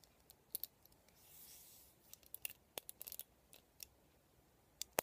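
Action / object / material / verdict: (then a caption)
flick / plastic round vent hairbrush / plastic / none. Fingertips and nails scratch and flick the plastic pin bristles and hollow vented barrel of a black plastic round vent hairbrush. The result is quiet, sharp, bright clicks and ticks scattered through the clip, with a soft, airy scratching swell in the middle.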